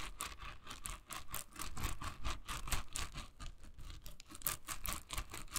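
Long nails scratch and flick across the dense, soft bristles of a hand-sized pink silicone scrubber held in the hand. The result is a quick, uneven run of dry, bright rasping strokes over a low rumble, each stroke cutting off almost at once.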